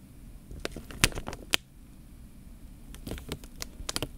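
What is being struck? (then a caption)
Plastic bag filled with water. Fingertips press and rub the film of a clear plastic bag full of water held horizontally. Soft crinkles and faint sloshing are broken by sharp, bright crackling snaps in two bursts, with a quieter stretch of low rustling in between.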